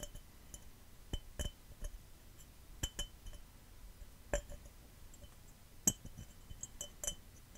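A glass cup is tapped and scratched fast and aggressively for ASMR, with no talking. Short, sharp clinks with a high, bright ring ring out at irregular intervals over a low, soft background of scratching.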